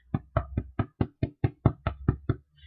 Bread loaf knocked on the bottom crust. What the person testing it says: i hope you can hear that it's hollow